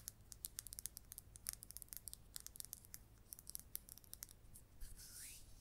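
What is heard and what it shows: Long red nails tap and scratch a hand-sized, solid resin red number 3 billiard ball. The result is a quick, irregular run of sharp, bright clicks over a faint low hum, ending in a longer scraping swipe that rises in pitch.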